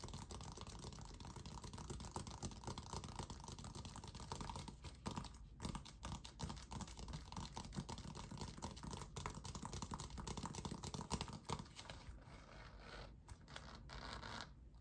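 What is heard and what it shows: Fingernails scratch and tap the pebbled composite leather surface of a full-size, hollow, inflated orange Evolution basketball held in both hands. The result is a quiet, dense stream of rapid, dry scratches and soft clicky taps, weighted toward the low end with short, damped decays.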